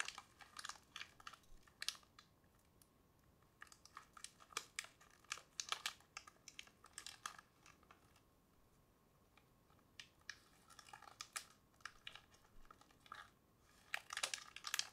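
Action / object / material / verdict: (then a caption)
tap / small sealed plastic snack packet / plastic / none. A small sealed plastic biscuit packet is held up in both hands and crinkled and tapped with long fingernails. Quiet, bright crinkles and sharp little ticks come in quick clusters with short, near-silent pauses between them.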